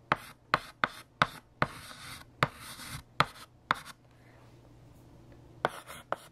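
A hand writes letters with a blue chalk stick on a large, solid, flat black chalkboard. Sharp chalk taps alternate with bright, scratchy strokes. Ten distinct hits stand out, with a quiet pause in the middle and softer scratching between some strokes.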